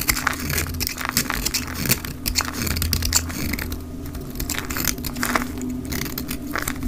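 A snap-off utility blade shaves crumbly flakes off the face and edge of a solid, rounded rectangular mint-green dry soap bar held in the hand, sped up to double speed. Dense, bright scraping and crackling runs throughout, with sharper crisp snaps over a steady low hum.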